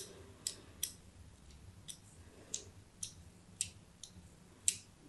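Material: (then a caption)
Soap. A thin metal blade scores diagonal grid lines into a solid white embossed soap bar held in the hand. Eight short, crisp, bright scraping clicks come at uneven intervals over a quiet, low background hum. Each cut is dry and fades almost immediately.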